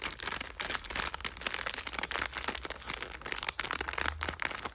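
A sealed, palm-size red Dorna Burger snack packet of glossy plastic film with a soft cake inside is held in both hands and pressed by fingertips with long dark red nails. The glossy film gives a steady run of bright, crackly crinkling with many quick rustles and crunches and a faint low hum underneath.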